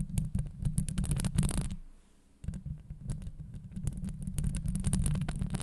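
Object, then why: Steel wire-mesh microphone grille. Long acrylic nails on both hands scratch and tap the hollow, rounded steel wire-mesh grille of a Blue Yeti microphone head. A dense, deep rumbling scrape is peppered with rapid, irregular bright clicks and taps. The sound drops to near silence for a moment before the scratching and tapping resume.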